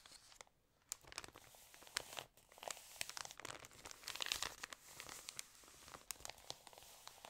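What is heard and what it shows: Fingertips and long nails smooth, crinkle and turn the pages of an open, water-damaged glossy paper fashion magazine lying flat. Sharp, bright crackles and dry rustles come in quick irregular bursts with short quiet gaps, with almost no low end.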